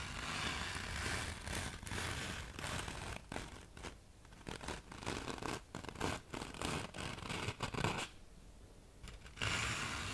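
Long nails and fingertips scratch and rub the gritty surface of a thin black fine-grit sandpaper sheet, slightly bent at the end and held close to the mic. The result is a dense, bright, gritty rasping in uneven bursts, with short quieter gaps between strokes.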